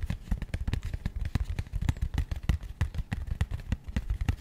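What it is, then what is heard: Cardboard box. A small, rigid, matte grey cardboard box held in both hands is rapidly tapped and scratched with long nails. The result is a fast, uneven stream of dull, low, hollow thuds with short, dry clicks and a faint scratchy texture between them, each tap dying away almost instantly.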